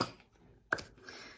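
A 200 ml plastic pump bottle of lotion with a small bead inside is shaken. Three short, sharp rattling clicks are heard, one at the start, a faint one just after, and a louder one later, with bright, high-pitched ticks that die away almost instantly.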